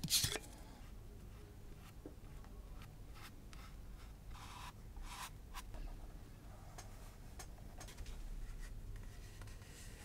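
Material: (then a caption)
Leather. A flat, thin panel of natural vegetable-tanned leather lies on a cutting mat and is scratched and scored with the metal tip of a wooden-handled awl or scratch tool. A brief louder scrape opens the clip, followed by soft, bright scratching strokes that come and go over a low, steady hum.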